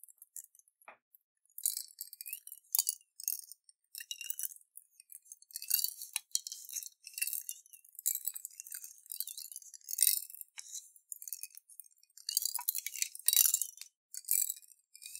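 A clear glass jar, partly filled with water and colorful beads, is tilted back and forth and shaken by hand. Quiet bursts of bright clinking and rattling come and go throughout, with almost no low end.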